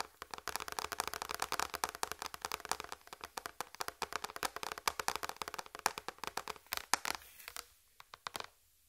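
Long red fingernails tap rapidly across a large, flat white plastic tray, making dozens of short, dry clicking taps with a bright, hollow tone. The taps are crisp and die away almost instantly. They thin out and slow near the end before the sound falls quiet.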